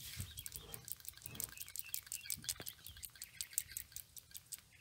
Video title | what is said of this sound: Toyota Vitz PCV Valve Check | if you hear that rattling sound of the PCV valve tell you that the ball that is located in the valve is moving, and you want to hear that